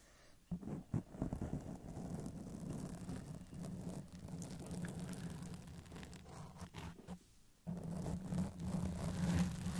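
Long acrylic press-on nails slowly scratch and rub a soft, porous black foam windscreen over the capsule of a silver Blue Yeti microphone, with the hands briefly touching the metal body. The result is a dense, muffled, low rumbling scratch that drops almost to silence for a moment near the end before resuming.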